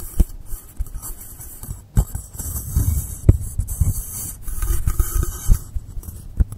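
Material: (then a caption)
Polystyrene foam. Fingernails scratch and tap the side and top of a long, solid blue polystyrene foam block resting on a table. The result is a series of dull, muffled low thumps and soft scraping with almost no ring.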